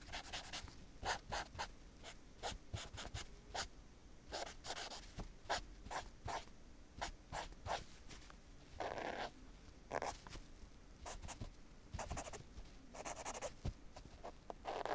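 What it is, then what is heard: Nylon tennis racket bag. Fingernails and a small handheld tool trace and scratch over the printed logo letters on a black padded nylon tennis racket bag. Short, bright scratchy strokes come in quick irregular bursts over a soft rubbing hiss. A few longer rasping drags stand out near the end.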